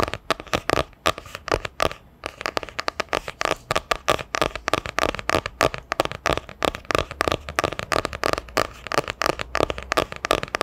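A solid hardcover book with a printed cardboard cover, held sideways, is tapped rapidly with long nails. The result is a fast, steady stream of short, dry, clicky taps with a mid-toned knock and bright edges, pausing briefly near the two-second mark.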